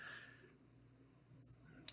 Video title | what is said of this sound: Kizer Begleiter: Review & Teardown | it doesn't have a crazy amount of tension there which is why you tap on it and you can hear some little clicky clickies